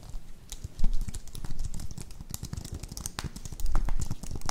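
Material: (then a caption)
Plastic. A slim white plastic computer keyboard is held up near the microphones while fingertips and long nails tap and press its keys. The result is a rapid, irregular run of short, dry, low-weighted typing clicks with a few louder thuds mixed in.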